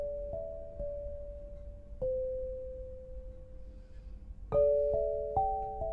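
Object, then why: Granite lithophone bars. An 8-bar lithophone of solid black granite slabs on a low frame, tuned to 432 Hz, is struck with two soft-headed mallets with red and green balls on wooden sticks to play a slow melody. Clear, bell-like tones ring out and sustain long after each strike, stepping between mid pitches as new notes overlap the fading ones.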